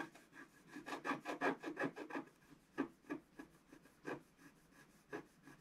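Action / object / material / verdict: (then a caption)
scrape / scratch art paper sheet scraped with a wooden stylus / coated paper / none. A wooden stylus scratches strokes into the coating of a flat, thin, black-coated scratch art sheet. About thirteen short, dry rasping strokes are heard, denser and louder in the first half and sparser and softer later, each with a gritty, mid-range scraping texture and almost no ring.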